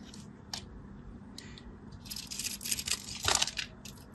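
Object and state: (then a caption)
Bar soap being carved. A solid orange-and-white striped bar of soap, held in the fingers, is carved with a craft knife. Quiet, bright scratching and cutting sounds come as a couple of isolated scrapes, then a denser run of crisp scraping that peaks near the end, over a faint low background hum.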